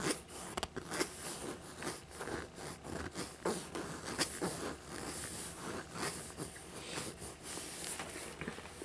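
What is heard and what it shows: Fingertips and nails scratch and rub the textured surface behind the straps of a small, hollow black faux leather dragon backpack. The result is a continuous, dense crackle of scraping and rustling with short, brighter scratch bursts throughout.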